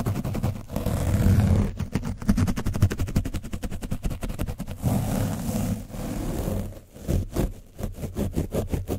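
A foam brush is scratched rapidly over the top of an orange foam microphone windscreen coated with dried paint. The result is a steady run of quick, rough, scraping strokes with a deep, muffled rumble and very little high brightness. There are brief pauses, and the strokes come in bursts toward the end.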